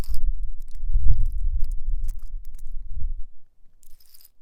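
A rock is tapped and scratched with a nail fixed to a fingertip. A dense, low scraping rumble with short bright ticks runs for about three seconds, then drops to faint scratches and a light high rasp near the end.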